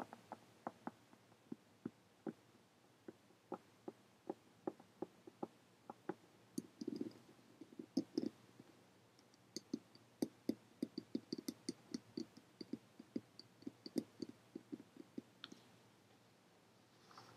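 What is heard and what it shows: A brown faux leather hardcover journal with a metal emblem on its cover lies closed on a table and is tapped and scratched with long painted fingernails. Dozens of quiet, dry, short taps with a low-mid body click in irregular bursts, broken by brief scratchy rubs. Some later taps carry brighter, sharper clicks, possibly from the nails catching the metal emblem.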